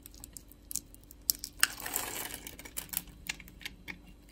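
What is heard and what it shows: A metal box-cutter blade scrapes across the cross-hatched surface of a solid, palm-sized orange soap bar held in the hand, flaking off small cubes. Quiet, bright, crisp ticks and snaps come at an uneven pace, with a longer dry scraping rasp in the middle of the clip. The sound is soft and close, with almost no low end and no ring after each snap.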